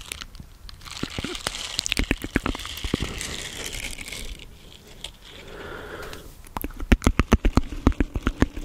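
Fingertips and nails scratch and rub the bristles of a small round green silicone scrubber pad held close to the microphone. Dense, bright crinkling and scratchy rustling carry sharp clicky snaps throughout, with a softer brushing passage in the middle. A fast run of louder, punchier taps closes the clip.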